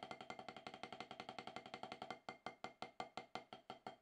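Wooden drumsticks tap on a solid octagonal HQ rubber-top snare practice pad. A fast, dense run of strokes is followed by slower, evenly spaced single taps. Each tap is a short, dry knock with a pitch around 746 Hz and a bright click that dies away almost instantly.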